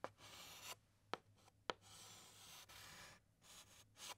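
A white chalk stick writes letters on a large, flat black chalkboard, making soft, bright scratching strokes. Four sharp taps of the chalk against the board break up the strokes, with brief quiet gaps between them.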